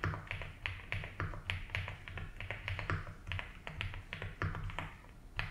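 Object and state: Plastic mechanical keyboard being typed on.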